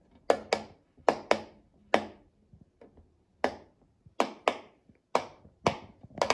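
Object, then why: Silicone pop-it fidget toy. A child presses the hollow bubbles of a rectangular rainbow silicone pop-it fidget toy with a mint-green base using her fingertips. About twelve sharp, dry pops come in uneven pairs and singles, each with a bright snap and a fast decay, with fainter soft clicks between them.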